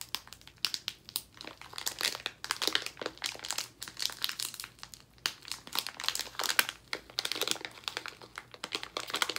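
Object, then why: Plastic foil candy bag. A full blue plastic foil bag of sour gummies is crumpled and crinkled between both hands and fingertips. The result is dense, bright, crackling crinkles in quick bursts, with brief pauses and almost no low end.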